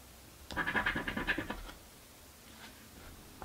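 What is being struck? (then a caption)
Paper scratch-off lottery ticket scraped with a coin. A coin scratches off the grid squares of a paper crossword scratchie lottery ticket in a quick burst of about ten rasping strokes over one second. The scratching has a bright, papery, scraping texture, then fades to near silence before a faint brush and another scrape begins at the very end.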